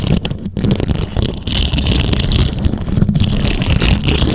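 Long acrylic nails and fingertips scratch and tap the rounded, hollow, silver metal mesh grille of a condenser microphone. A dense, continuous rumbling scrape fills the low end, with a faint bright rasp above and quick, closely packed taps blending into the texture.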